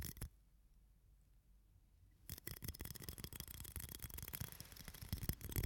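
A small, clear, hollow, empty hard-plastic shot glass is held in both hands in front of the face, cupped and tapped with fingertips and nails. A single soft tap opens the clip, followed by about two seconds of near silence. Then comes a dense, irregular stream of quick, hollow clicks and bright scratchy taps that grows slightly louder toward the end.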